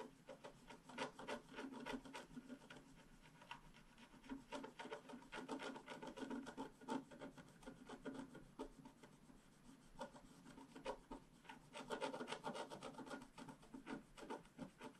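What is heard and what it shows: A hand scratches the coating of a flat, black-coated scratch-art card, lying as a solid sheet on a table, with a small stylus near its lower right corner. Quick, irregular dry rasping strokes come in bursts, with a bright, papery scrape and little low end. Each stroke stops almost at once, with no ring.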